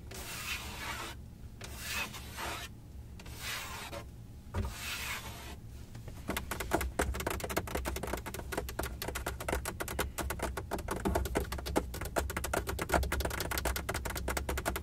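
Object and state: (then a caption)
Plastic car dashboard. Long acrylic nails scratch and rub the top of a Benz car dashboard, a large solid molded plastic panel beside the infotainment screen. Slow, broad rasping strokes come first, then give way to fast, dense scratching with sharp ticks over a low steady hum.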